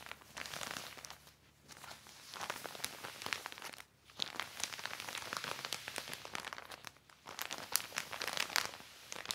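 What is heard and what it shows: A large, thin, black glossy plastic cover spread flat is rubbed and wiped by hand with a yellow microfiber cloth. It gives bright, dense crinkling and crackling in bursts, with brief quiet pauses near 1.5, 4 and 7 seconds.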